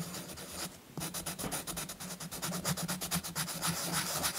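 A purple chalk stick is scratched repeatedly along the scooter outline on a paper coloring book page resting on a soft cloth, coloring it in. Dry, bright scratching strokes come in a quick, steady rhythm. They pause briefly just before the one-second mark, then resume and grow slightly louder toward the end.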